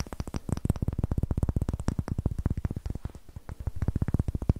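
A solid, light wooden block with rough end grain is held over a microphone and tapped and scratched with long nails and fingertips. A rapid, steady run of short, dull knocks is heard, heavy in the low end. Each knock dies away almost instantly, with faint scratchy texture between taps.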